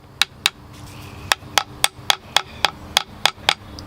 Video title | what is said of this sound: Collected Larch and Crown of Thorns Update, The Bonsai Zone, Sept 2018 | If you ever want to test if a pot is cracked or not, just give it a tap. So if you listen to this pot, it has no ring to it.